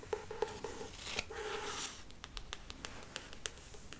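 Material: Cardboard.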